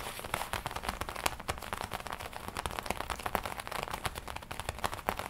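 Long nails and fingertips tap and scratch the black leather chest panel of a worn black and red leather biker jacket with a studded collar, a soft hollow garment. A steady stream of quick, dry clicks and scratchy crackles is heard, with brief bright taps over a soft rustle.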